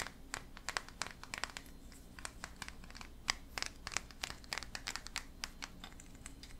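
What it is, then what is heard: Resin figurine, scratched and tapped. A small solid painted resin figurine of a skull-faced creature with antlers holding a tiny bunny is held in both hands and scratched and tapped with fingertips and nails. Quiet, bright, dry clicks and scratchy crinkling come in quick irregular bursts over a low steady hum.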